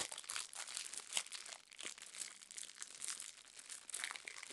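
Long nails tap and scratch the crinkly plastic wrapper of a roll of garbage bags, about 25 cm long, held in both hands. The result is a quiet, steady stream of bright crinkling and rapid tapping with no low end, rising and falling in small bursts throughout.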